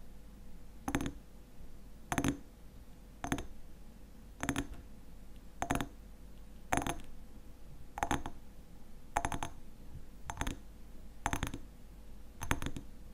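A glass honey bottle with a black lid is tapped and scratched, making bright glassy clinks in 11 short bursts spaced about a second apart. Each burst fades quickly, and a soft, steady rustle fills the gaps between them.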